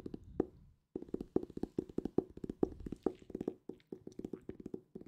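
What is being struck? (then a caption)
Hardcover book. A solid purple hardcover book is tapped quickly with the fingertips. This makes a rapid series of short, dull knocks with a hollow tone around 350 Hz and almost no ring. There is a brief pause near the start before the tapping continues steadily.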